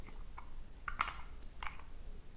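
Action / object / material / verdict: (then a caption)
shake / glass perfume bottle with metal cap / glass / loose. A 75 ml glass perfume bottle with a rose-gold metal cap is moved, and something loose rattles inside it. It makes several short, bright clicks over a low background hum. The rattle is not expected, and its cause is not known.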